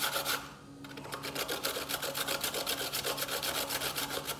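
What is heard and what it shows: A small piece of white, solid fresh coconut flesh, held in the fingertips, is rubbed up and down a stainless steel box grater standing on a bamboo board, with shreds falling onto the board. After a brief pause, a steady run of bright, scratchy rasps follows at about four strokes per second, roughly fifteen strokes in all.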